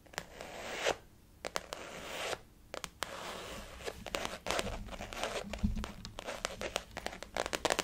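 A blue floral-print glossy faux leather zip-around wallet on a table is tapped and scratched with long fingernails of both hands. Sharp, bright taps and clicks are mixed with stretches of scratchy, rasping friction, with a few brief quiet gaps between bursts.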